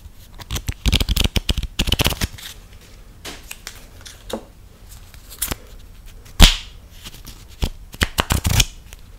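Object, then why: Deck of coated-paper playing cards. A full, hand-sized deck of coated-paper UNO playing cards (Family Guy edition) is held in both hands and riffled and flicked through with fingertips and long nails. Bursts of crisp, papery riffling and fluttering alternate with quieter pauses and soft card handling. A sharp, bright flick stands out as the loudest moment partway through.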